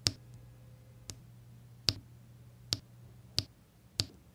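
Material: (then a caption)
Resin. Small square resin diamond-painting drills are pressed one by one onto a flat, sticky adhesive canvas with a pink plastic drill pen with a metal tip. Six sharp, bright clicks land at uneven intervals and die away almost instantly, over a faint low hum.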